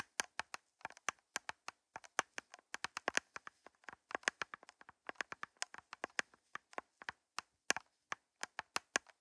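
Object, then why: Plastic cups. Long fingernails tap on plastic cups, making dozens of quick, dry clicks in irregular bursts. Each tap is bright and very short, with no low-end thump.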